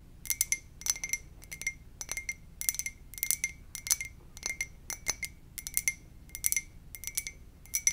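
A white "muah!" ceramic mug is tapped gently in quick little clusters. Each cluster gives bright, glassy clinks with a steady tone near 2 kHz plus higher overtones. The clinks are short and die away almost at once between quiet pauses.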